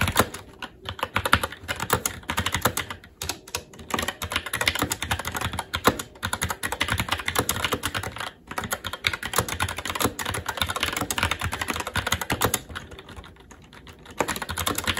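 Fingertips of both hands type continuously on a SteelSeries Apex 7 TKL mechanical keyboard with red linear switches, plastic keycaps, a metal top plate and RGB backlight, resting on a desk. A fast, steady stream of short, dry plastic clacks with bright tops runs throughout, broken only by a couple of brief pauses.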